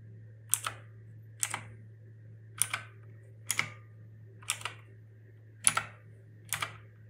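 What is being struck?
Plastic mechanical keyboard keys.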